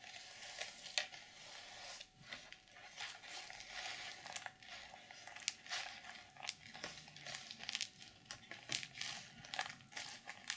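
Long purple nails scratch across the sequins of a closed black journal's reversible sequin fabric cover and grip its edges. The result is a steady, bright, crinkly scratching, broken by many sharp little clicks and rustles as the sequins flip.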